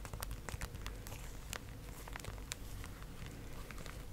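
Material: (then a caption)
Cardboard. Long acrylic nails tap and crinkle a small printed cardboard Pocky strawberry box held in one hand, possibly with foil-wrapped snacks inside. Quick, dry clicks and soft crackling rustles repeat over a steady low rumble.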